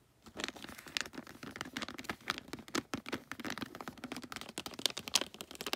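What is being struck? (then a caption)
Holographic foil wrapping paper on a gift box. Long nails scratch and crinkle the holographic foil wrapping paper on a gift box near its folded end. The result is a quick, dense run of bright, crisp crackles and scratches with very little low end, each snap dying away almost instantly.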